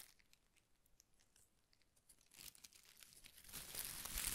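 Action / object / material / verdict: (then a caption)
scrape / ball of thin paper shreds / paper / none. A ball of thin pastel shredded paper strips is held in one hand while the other hand's fingertips pull and rub single strips. Quiet, sparse crinkles and soft ticks give way to denser, bright tearing and rustling that grows steadily louder toward the end.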